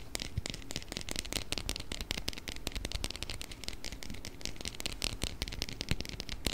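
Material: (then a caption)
Plastic. A small round clear plastic food container with a blue lid, filled with orbeez, is tapped and scratched with fingernails close to the microphone. The result is a dense, continuous stream of sharp, bright clicks and crackling scratches over a soft, low rumble, with the taps dying away almost instantly.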